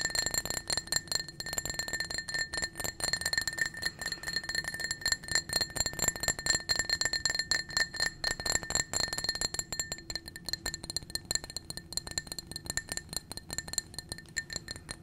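A small, clear, blue-tinted glass drinking cup, hollow and apparently empty, is held in the hand and tapped quickly and unevenly with the fingernails. Each tap is a short, bright clink, and a steady glassy ring sits near 1.8 kHz with higher tones above it. The tapping runs continuously throughout and eases slightly in the last few seconds.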